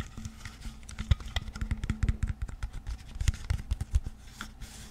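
Fingertips and nails tap and scratch the label and body of a clear, partly filled plastic water bottle. A rapid, uneven run of dull, low thumps with very short decay is mixed with dry, crinkly scratches that flicker up into the high range.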